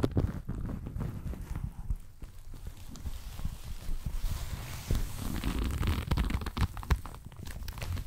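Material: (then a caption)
Leather. A blue leather jacket is bunched up in the hands right at the mic, crumpled and rubbed with fingers and nails. Close, bass-heavy creaking and rustling of the leather mixes with short scratches and soft tapping clicks throughout.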